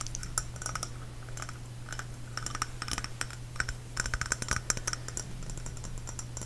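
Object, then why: Small glazed ceramic dish. A small glazed ceramic Epcot Spaceship Earth trinket dish, with a hollow white textured sphere, is held close to the microphone and tapped quickly with fingernails on the sphere and rim. Rapid, dry clicking taps with bright, short-lived ticks run over a steady low hum.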